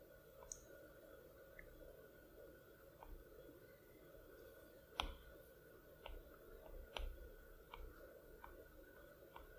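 A plastic Apple Pencil tip taps and clicks on the large, flat glass screen of an iPad Pro. About eight short, dry, bright clicks come at irregular intervals. They sit over a quiet, steady low background hum, and each click dies away almost instantly.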